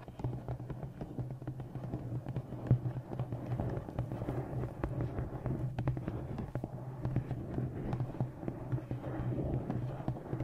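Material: Coated board.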